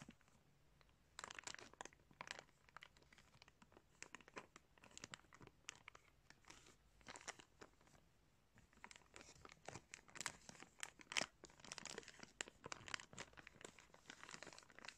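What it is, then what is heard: Plastic bag crinkling. Fingers crinkle and rub a clear plastic bag containing blue sunglasses, producing dense, bright crackling and crunching rustles. The sound is quiet and starts sparse, then grows busier and louder toward the end in a small indoor space.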